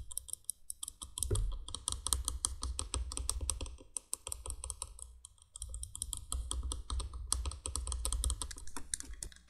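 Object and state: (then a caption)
Hollow plastic candle window light base. Long painted nails rapidly tap and scratch the hollow base of a vintage 1980s cream plastic three-candle window light. The sound is a dense stream of quick, bright, dry clicks over a low hollow thump, with almost no ring. Activity pauses briefly at the start and again around the midpoint.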